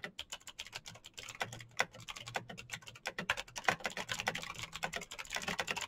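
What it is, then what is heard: Plastic mechanical keyboard. Fingertips of both hands type rapidly on a black plastic mechanical keyboard with clicky green switches and backlit keys. A fast, dense run of sharp, bright clicks that die away almost instantly, over a faint low hum.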